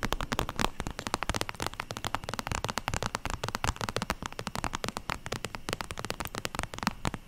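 An iridescent holographic vinyl zip makeup pouch, flexible, is held up and tapped and scratched with long acrylic nails. The result is a dense, rapid stream of sharp, crackly clicks and scratches, each one short with almost no ring, and a bright, crinkly texture throughout.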